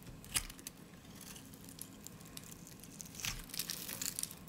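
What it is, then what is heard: Dry soap bar being shaved. A solid, dry lilac soap bar is held in the hand and shaved with a snap-off utility blade, curls peeling off its edge. Quiet, bright, crisp scraping and crackling come in brief bursts, with a sharp snap near the start and a denser, crunchier stretch toward the end over a low, faint background.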